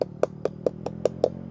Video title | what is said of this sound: พาเข้าสวนตัดทุเรียน จังหวัดจันทบุรี/เศรษฐี ไม่มีนาย EP.440 | ลูกนี้เสียงเพาะจริง